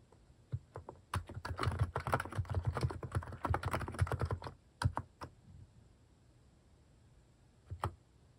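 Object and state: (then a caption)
Plastic mechanical keyboard being typed on. Fingertips type on a white-case mechanical keyboard fitted with pastel plastic cat-shaped keycaps. A few scattered taps lead into a dense, uneven run of deep, short clacks with bright click edges, then it slows to a few isolated presses. After a quiet pause, there is one last quick pair of keystrokes.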